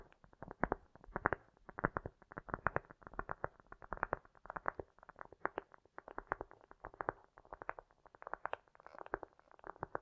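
Long nails tap fast and scratch across a round solid cork disc, with an echo effect added. The result is a steady flurry of short, soft, dull clicks and rasps, mostly in the low-mid range with little bright content.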